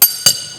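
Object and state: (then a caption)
Iron piece struck with hammer, undamaged. A hammer knocks twice on a piece of iron, giving two sharp, bright metallic clinks with a lingering high ring. The iron is unharmed by the strikes.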